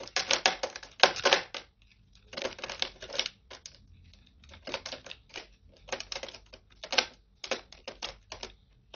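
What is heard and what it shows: A solid, cracked, dry green soap block is sliced and scraped with a metal utility-knife blade over a plastic tray. Bursts of crisp, crumbly cutting and scraping come in quick irregular clusters with short pauses between them. The sound is dry and bright with almost no low end, and each crunch stops almost at once.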